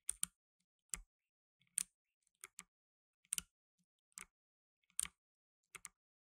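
Blue nitrile-gloved fingertips type on a black tenkeyless mechanical keyboard with plastic keycaps. Eleven sharp, bright key clicks come at irregular intervals with brief silences between them. Each click is dry and stops almost instantly, with no ringing.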